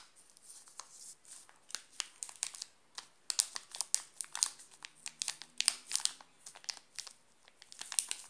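A flat hand presses on a full, sealed Alpino chocolate bar while fingertips scratch and crinkle its glossy plastic wrapper. The result is a quiet, rapid series of sharp, bright crinkles and crackles with almost no low end. Each snap dies away instantly.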